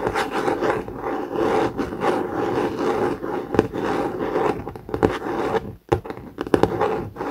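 The top cover of a blue COMIX hardcover notebook with a laminated cardboard cover, lying flat, is scratched with the short nails of both hands. Steady, dense scraping fills the clip, centered in the low midrange, with sharper louder strokes popping out. The scratching breaks off briefly near 5.8 seconds, then resumes.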